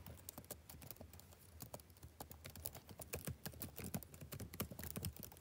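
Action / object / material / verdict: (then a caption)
tap / plastic laptop keyboard / plastic / none. Fingertips type on a black plastic backlit laptop keyboard. Soft, quick key clicks come at an irregular pace, each short and dry, with a low thud under a faint bright tick. The overall level stays quiet.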